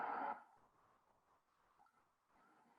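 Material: Nothing is struck.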